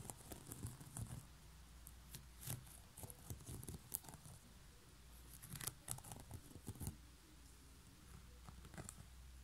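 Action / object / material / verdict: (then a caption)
tap / woven straw basket lid / straw / none. Long nails tap and scratch along the woven rim of a coiled woven straw basket lid resting on a desk. Quiet, dry clicks and bright, crackly scratching come in irregular bursts over a steady low hum, each tap dying away almost instantly.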